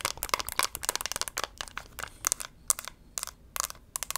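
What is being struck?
Small hard plastic compact case.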